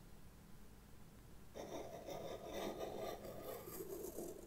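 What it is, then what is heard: Pastel pencil scratching on black paper. A white pastel pencil point scratches short strokes across flat black drawing paper in a sketchbook, drawing a witch hat while a hand with long red nails rests on the page. After about a second and a half of faint low hum, a soft, gritty rasping starts and continues in quick, uneven strokes with a bright, papery edge.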